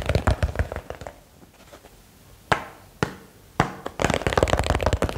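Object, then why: Small box. A small box is tapped quickly for ASMR. Bursts of rapid, dry, low-heavy taps fade into a quiet stretch broken by a few sharp, isolated knocks, then the fast tapping resumes with almost no ring after each hit.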